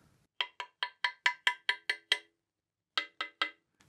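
A small metal tap-test hammer repeatedly taps a cut-off carbon fibre bicycle rear triangle, a hollow-tube section where the seatstay and chainstay join at the dropout, held in one hand. Twelve short, bright clinking taps come in a run of nine, then a brief pause, then three more. Each tap has a sharp high-pitched ring that dies away almost immediately.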